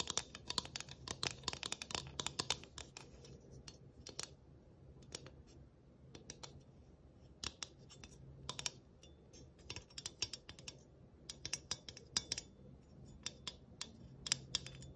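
A flat round galvanized sheet metal ornament with a tree cutout is scratched across its surface and edges with long nails. The result is a run of quick, bright metallic scrapes and clicks that die away almost instantly, with bursts clustered near the start, middle and end.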